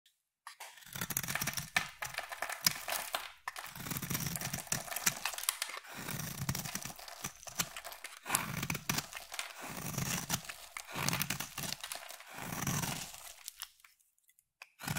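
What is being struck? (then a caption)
Solid bar soap cut with a metal blade. A hand-sized solid black bar of soap, held in one hand with long manicured nails, is carved and shaved with a metal utility knife blade. Repeated crisp, crunchy scraping strokes come in bursts separated by brief pauses, bright and papery in tone. Flakes of soap fall away with each cut.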